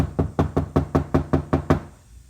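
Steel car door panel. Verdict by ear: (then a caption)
Hollow. Knuckles knock nine times in quick succession on a Lincoln's steel car door that has nothing inside and no sound deadening. Each knock is a hollow, low thud with a short, resonant ring. The untreated door sounds hollow and boomy.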